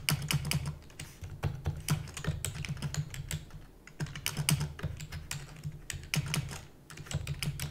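Rapid typing on a full-size black plastic computer keyboard with hollow keys, tapped with long natural nails and fingertips. A fast, uneven run of short, bright clicks and clacks sits over a steady low, hollow thump from the keys, each tap dying away almost instantly.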